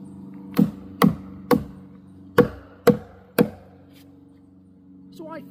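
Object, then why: Wooden utility pole. A worker in a hard hat sound-tests a large, weathered, solid wooden utility pole standing in a forest clearing, striking it near the base with a hammer. Six dull, short knocks with a low thud and almost no ring come in two groups of three, followed by a brief voice at the end.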